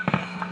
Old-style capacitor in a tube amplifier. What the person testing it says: If I just tap on this, you can you can actually hear the sound coming out of the uh the speaker.